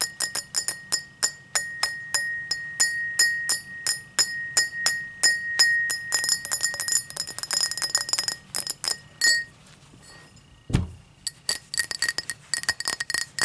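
A tall drinking glass is tapped in quick, rapid runs, giving bright, ringing glass clinks with a steady tone near 2 kHz. After a brief pause and a low thump, the tapping resumes.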